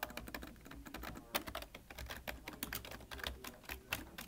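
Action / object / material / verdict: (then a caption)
tap / plastic computer keyboard / plastic / none. Both hands type with their fingertips on a full-size, hollow-bodied black plastic computer keyboard, producing a quick, uneven run of short, bright clicks and clacks. Each keystroke dies away almost instantly, and a faint trace of music sits low underneath.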